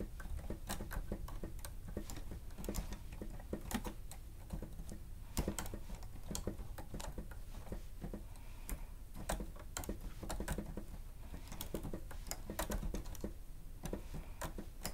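Fingertips and nails of both hands rapidly press the keys of a grey plastic stenotype machine with a screen. The result is a steady stream of quick, dry plastic clicks and taps with sharp bright edges and very short decay over a low, constant hum.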